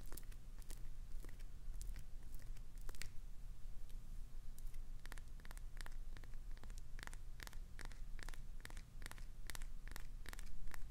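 Long nails scratch the edges and face of a solid green glycerin soap bar with a clownfish design, scraping off shavings. A steady low hum sits under a rapid run of short, bright, crisp scratching ticks that come in quick bursts throughout.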